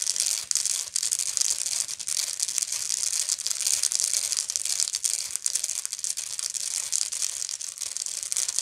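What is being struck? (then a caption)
Woven straw bag. Long nails on both hands scratch the textured weave near the center of a round, hollow woven straw or raffia bag held up close. The result is a steady, dense, bright scratching hiss with quick rough flutters and almost no low end.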